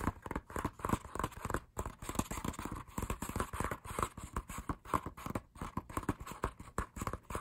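Fingertips tap on the pages of an open matte paper lyric booklet, giving a quick run of soft, dry, low taps with some rustling page flips mixed in. The taps come closely spaced and die away almost instantly.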